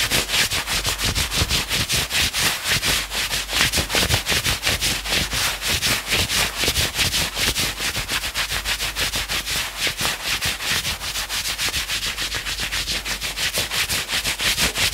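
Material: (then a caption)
Knit fabric. Fingertips and nails quickly scratch and rub the forearm sleeve of a worn two-tone maroon and grey knit sweatshirt. A rapid, continuous run of bright, rasping scratch strokes fills the whole clip at a steady level, with little low end.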